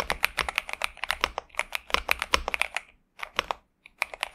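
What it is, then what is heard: Mechanical keyboard with plastic keycaps. Both hands type continuously with their fingertips on a pink and purple Xinmeng M71 65% mechanical keyboard with TTC Superman switches and plastic keycaps, resting on a desk mat. The keystrokes come as a rapid stream of short, crisp, bright clacks, each dying away almost instantly. The typing pauses briefly after about three seconds, then resumes with a few more clacks.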